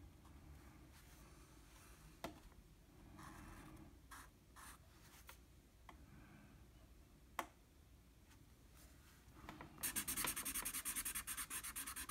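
A blue felt-tip marker fills in a shape on a flat sheet of drawing paper with back-and-forth strokes that scrub the paper surface. Soft, quiet rubbing strokes are broken by a couple of sharp ticks, then the last two seconds turn into louder, rapid, bright scratchy scrubbing.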